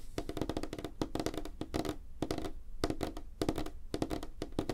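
Fingertips and nails tap rapidly on a flat, solid, light wooden tabletop, with the hands spread apart. The result is fast, dry, clicky taps in quick bursts, each with a short woody knock around 300 Hz and almost no ring.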